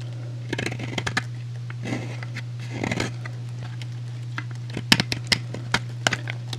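A metal utility blade shaves flakes off the edge of a solid, rectangular, hand-sized purple soap bar with an embossed logo. Short, crisp scraping and cutting snaps stand out over a steady low hum, with a couple of longer, softer shaving strokes in the first half.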